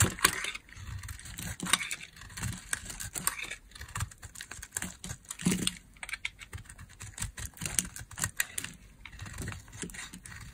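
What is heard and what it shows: A metal blade carves dry curls off the end of a solid, dry, orange oval bar of soap. The result is a steady run of crisp, bright scraping and crackling strokes with short, dry bursts and a faint low rumble underneath.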